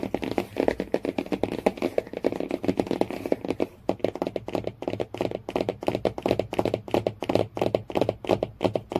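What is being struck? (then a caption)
Hardcover book cover. Fingernails tap and scratch rapidly across the cover and edge of a hardcover Jungle Book storybook lying flat. The taps are quick, dry, and clicky, with a papery scratch between them and almost no ring. The sound sits mostly in the midrange, with little deep bass or bright top.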